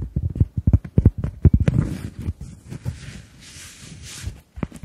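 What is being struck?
Round cork coaster.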